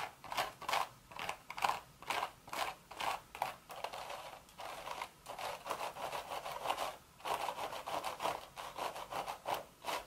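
Long red nails scratch the crown of a cream woven straw hat with a hollow crown. The result is a run of dry, raspy scratching strokes centered around 800 Hz to 1 kHz with a bright hiss on top, broken by a few longer continuous rubs in the middle.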